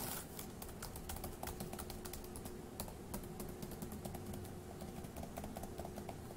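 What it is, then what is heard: Plastic laptop keyboard. One hand types with its fingertips on the plastic keys of a dark grey laptop keyboard. Quick, soft, light clicks run steadily over a faint constant low hum.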